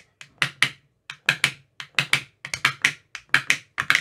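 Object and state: Plastic ice cube tray with silicone cells.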